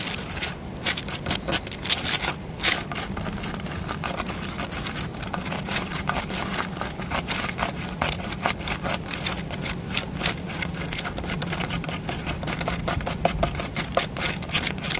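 Fingertips and nails scratch and tap the carved woven pattern of a large grey concrete flower pot, solid and porous. Dense, gritty scraping fills the clip, broken by many sharp, bright clicks over a steady low rumble.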